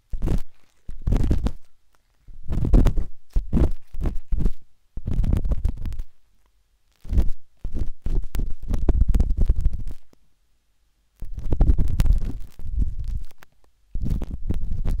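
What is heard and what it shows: A thin metal tip of a wooden-handled dot stick scratches inside the canal of a pale pink silicone ear on a binaural microphone, soft and solid. The result is a series of muffled, deep rumbling scrapes and rapid scratchy taps in bursts separated by short silences.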